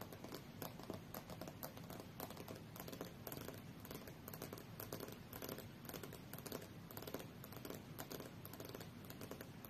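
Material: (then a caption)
Glass. Long fingernails on both hands tap fast on the solid glass screen of a tablet lying face-up on a fur rug. The result is a quiet, steady stream of short, dry clicks with a soft low rustle underneath and little ring after each tap.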